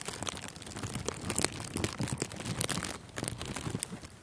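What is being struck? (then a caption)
Thin clear plastic cellophane wrap. Thin, clear plastic cellophane gift wrap stretched over a furry microphone windscreen is squeezed and crinkled with both hands. The result is a dense, close-up stream of crackling with sharp, bright snaps and soft low thumps. It stays fairly steady in loudness throughout.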